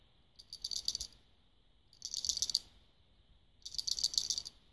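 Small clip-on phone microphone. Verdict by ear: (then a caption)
Loose. An iRig Mic Cast clip-on phone microphone is shaken in three bursts, and a loose part inside it rattles with dry, high-pitched clicks. This is a flaw because the microphone picks up its own noise.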